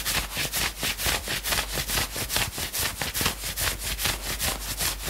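Fingertips and nails scratch quickly back and forth on the upper-arm sleeve of a worn knit sweatshirt. The result is a steady rhythm of short, bright, raspy fabric strokes, about two per second, with little low end.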